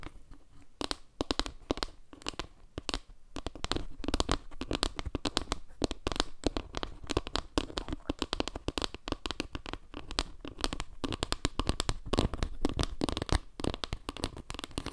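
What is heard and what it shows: Long painted nails scratch and tap the textured surface of a flat, round wooden trivet made of small log slices with a dark center, held up close to the mic. Fast, dense clicks and dry crackly scratches run continuously, with a soft low thump under many of the taps and very short ring.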